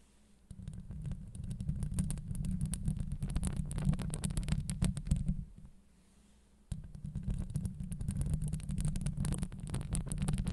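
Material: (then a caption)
Steel mesh. Long acrylic nails on both hands scratch the sides of the hollow steel wire-mesh grille on a Blue Yeti microphone head. The result is a dense, rapid, rumbling scrape, heavy in the low end and dotted with bright crackling clicks. It runs for about five seconds, stops briefly into near silence, then resumes until the end.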